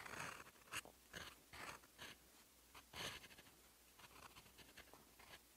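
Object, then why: Steel pen nib on writing paper. A fountain pen's steel nib scratches across a sheet of lined writing paper while writing in teal ink. Short, dry, bright scratching strokes come in bursts with quiet gaps between them.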